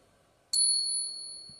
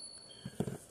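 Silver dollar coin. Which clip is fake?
The second.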